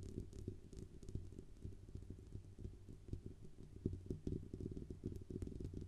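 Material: Metal.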